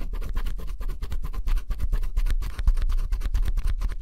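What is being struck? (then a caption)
Coated cardboard puzzle piece scraped with a wooden stylus. A wooden stylus held in the fingers scratches the black coating off flat, thin, solid cardboard jigsaw puzzle pieces lying on a table, revealing blue colour underneath. The result is a fast, continuous run of short, dry scraping strokes at a steady level, with a heavy low rumble beneath them.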